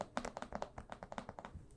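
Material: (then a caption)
Card stock. Fingertips tap on the card stock cover of a comic book from the Avatar Frontiers of Pandora series. About ten quick, soft, papery taps follow each other, each with a dull mid-range knock that dies away almost at once.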